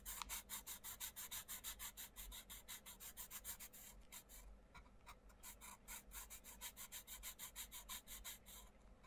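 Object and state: Pencil shading on a colouring book page.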